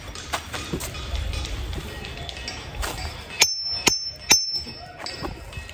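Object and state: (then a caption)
Ringing diabase boulder. A hammer strikes a diabase boulder at Ringing Rocks County Park, and three loud, sharp hits each give a bright, bell-like ring high in pitch that fades within a fraction of a second. The ring comes from internal compressive stress in the unweathered "live" rock, which is lost when the rock is weathered or sawn. Softer sounds and music run underneath.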